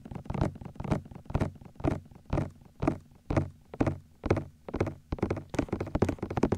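Fingertips and thumbs grip and tap on the white hollow silicone ears of a 3Dio binaural microphone, producing a steady run of dull, hollow thunks at about two per second. Each knock is short and low-heavy, with a muffled body and almost no bright content, dying away almost instantly between taps.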